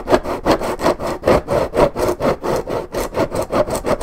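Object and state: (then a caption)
Paperboard juice carton. Long nails scratch back and forth across the top of a hollow Minute Maid orange juice carton made of coated paperboard. About 15 rhythmic, raspy strokes, each a brief swell of dry scraping centered around 600 Hz with a little high hiss. The strokes repeat steadily with short dips between them.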